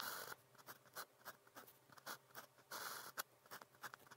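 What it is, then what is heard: Pen writing on paper. A blue plastic pen with a fine tip writes continuously on cream grid paper, producing quiet scratching strokes across the sheet's surface. Longer bright scratches open the clip and recur near the end, broken up by many short, crisp stroke sounds.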